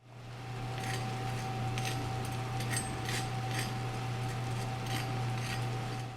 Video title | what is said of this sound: how to make Recipe - Baked Semolina | even over the sound of my oven fan you could hear how crispy that is